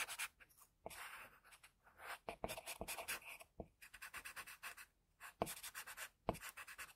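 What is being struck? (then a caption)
Graphite pencil on a sheet of drawing paper. A graphite pencil scratches across a flat sheet of drawing paper in continuous strokes, drawing the leaf symbol. The sound is a quiet, bright, papery scratching that comes in quick rhythmic bursts, with a few short pauses between passes.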